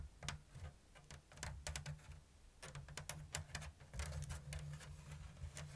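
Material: Bamboo.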